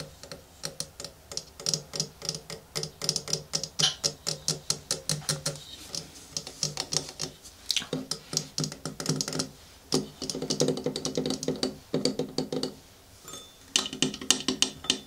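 Fingernails tap rapidly on the white ceramic sides and brass bowl rim of an empty-looking antique manual coffee grinder with blue painted flowers, a wooden top plate and base, and a crank handle. Quick, bright, dry clicks follow one another in steady bursts with brief pauses, each dying away almost instantly.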